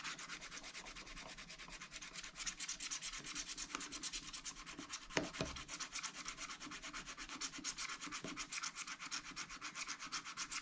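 A wooden stylus rubs and scratches the wax-coated sheet of a spiral scratch-art paper pad, which is held flat by one hand, in rapid strokes. The result is a steady, bright, papery scratching made of quick, closely spaced strokes, with a single sharper tick and a soft low bump about halfway through.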